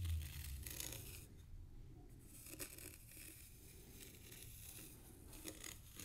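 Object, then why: Fine sand in a small tray, drawn through with a thin stick. The tip of a thin bamboo stick scratches patterns into a shallow layer of fine white sand in a small black square tray. Quiet, gritty scraping strokes come in irregular bursts with a bright, hissy edge over a steady low rumble.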